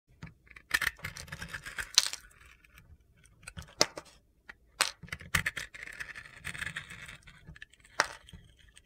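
A metal box-cutter blade shaves and scrapes the glitter-coated crust off a solid pink soap bar held in a hand with long nails, exposing the white soap underneath. Bright, gritty scraping and crunchy shaving strokes come with several sharp clicks and ticks between quieter rasping passes.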